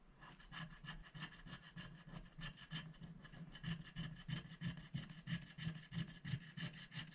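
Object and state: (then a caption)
Scratch-art paper being scratched. A wooden stylus scratches the black coating of a scratch-art paper sticker sheet, held down by one hand, revealing rainbow colour underneath. Repeated rasping strokes come in a steady rhythm of about three per second. Each stroke has a soft low rub under a bright, scratchy hiss.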